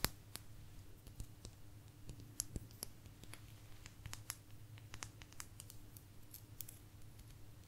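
A small, thin, solid blue agate geode slice, hand-sized and held close to the mic, is tapped and scratched with long natural nails. Quick, dry, bright clicks and ticks come in an irregular series, with soft scratching between them. A steady low hum sits underneath throughout.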